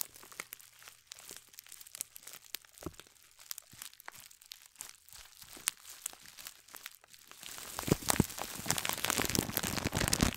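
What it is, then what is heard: Scouring sponge in plastic bag. Fingertips and long nails crinkle and scratch a loose clear plastic bag holding a single gold glittery scouring sponge. Sparse, dry crackles and ticks come first, then around the last third the rustling turns into a louder, denser, bright crinkling.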